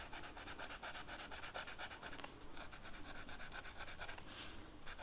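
A purple marker's felt tip is rubbed across a flat black velvet-flocked paper coloring sheet in quick back-and-forth coloring strokes. The result is a steady, soft rubbing hiss with a bright, papery edge on each stroke over a low rumble.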